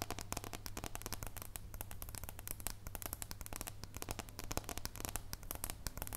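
Long nails tap and scratch the surface and edge of a thin, solid, unwrapped dark chocolate bar held in both hands. The result is a dense run of quick, dry clicks and crackly scratches with bright ticks over a steady low hum.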